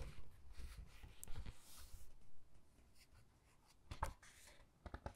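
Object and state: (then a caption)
Hardcover book pages being flipped. Fingertips with long dark nails squeeze and flip the glossy photo pages of a large hardcover Titanic book lying open. Quiet papery rustling and sliding carry through the opening seconds, then fade to a soft hush. A few short, crisp page ticks and snaps come near the end.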